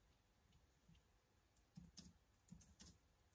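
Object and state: Plastic laptop keyboard.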